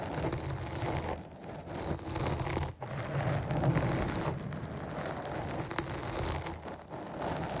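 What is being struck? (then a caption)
Foam microphone windscreen. Long nails scratch across the top of a black foam windscreen on a microphone. The result is a dense, continuous, crackling rustle, heavy in low-end rumble, with a brief drop in level near the three-second mark before the scratching resumes.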